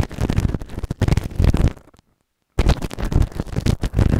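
A white plastic ear tool held in fingertips scrapes inside the canal of a grey silicone ear-shaped microphone on a round base, soft and solid. Dense, low, rumbling scratches crowd together with brief bright edges. They break for about half a second of silence in the middle, then carry on.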